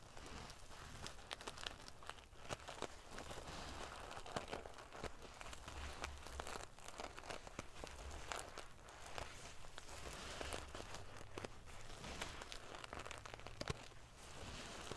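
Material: Metal sequins.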